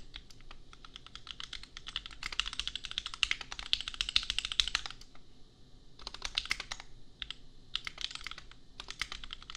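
Fingertips of both hands type on a compact $250 custom mechanical keyboard with Gateron Milky Yellow switches and red and pink plastic keycaps. Quick, irregular bursts of short, bright plastic clacks come in fast runs separated by brief pauses, each click dying away instantly.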